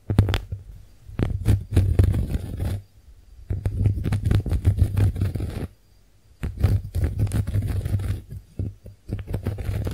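Long nails scratch and tap across the porous surface of a pink heart-shaped konjac face sponge, making dense, low, rumbling scrapes. The clip has three bursts of activity, with short quiet gaps near 3 and 6 seconds.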